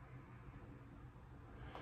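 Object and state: Nothing is struck.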